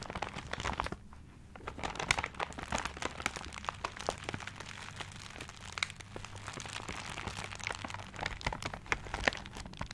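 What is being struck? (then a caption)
Paper-wrapped gift. A paper-wrapped gift is turned in the hands while fingertips crinkle and scratch the wrapping paper. The result is dense, bright crackling and rustling with small sharp crunches throughout, over a faint steady low hum.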